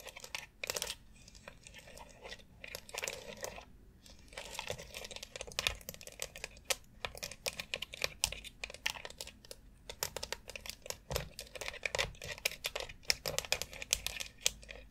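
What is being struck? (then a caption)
Molded plastic foot massage board. Long acrylic nails tap and scratch across a long white foot massage board of hollow molded plastic, covered in rounded plastic nubs around a central dome, including the dome itself. Rapid, bright clicks and dry scratchy rasps come in dense, uneven bursts with almost no ring or low end, between brief quiet pauses.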